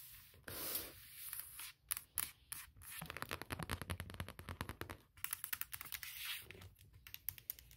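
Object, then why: Aluminum laptop lid. Long nails tap rapidly and rub across the closed lid of a large MacBook Pro, a hollow aluminum shell, around the logo. Dry, bright scratching passes give way to quick, irregular clusters of short clicking taps with almost no ring. The result is a soft, crackly texture of scrapes and fast tapping.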